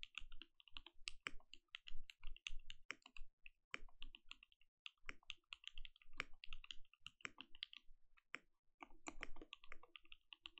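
Both hands type with their fingertips on a compact mechanical keyboard with plastic keycaps and a glowing case. Quick, uneven bursts of short, crisp clicks each carry a deep, muted low thud. Every keystroke dies away almost instantly, with only brief pauses between runs.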